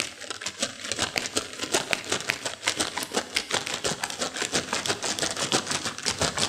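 A small yellow printed plastic M&M candy bag, full of peanut M&Ms, is held above a white saucer and squeezed and crinkled with long fingernails and fingertips, shaking the candies inside. It makes a steady stream of sharp, bright crinkles and crackles with little low end, and the candies rattle irregularly throughout.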